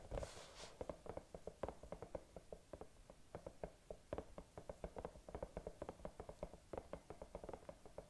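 Long nails tap and scratch on a hollow bunny night lamp, likely silicone and lit green, close to the microphone. A brief bright scratch opens, then rapid, steady taps continue, each a dry, hollow knock with a mid pitch of about 550 Hz that dies away almost at once.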